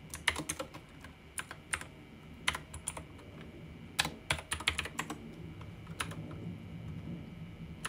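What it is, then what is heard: Plastic mechanical keyboard. Fingertips type rapidly on a pink backlit mechanical keyboard with plastic keycaps and a roller wheel. Sharp, bright plastic clacks come in irregular bursts and clusters, each dying away almost instantly, over a faint low background rumble.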